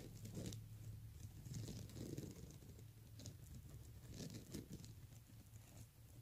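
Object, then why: Plastic beaded handbag. Fingernails scratch and tap across the beads on the front of a pink plastic beaded handbag, then the hand comes to rest on the bag. Soft, quiet clicking and rustling patter over a steady low hum, with faint bright ticks.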